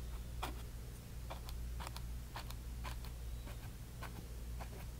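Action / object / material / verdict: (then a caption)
scrape / bristle brush on a canvas panel / canvas / none. A bristle brush dabs and rubs magenta paint onto a small canvas panel, producing short, scratchy bursts of brushing over a steady low hum. The strokes come as soft, bright swishes that fade quickly at a fairly quiet level.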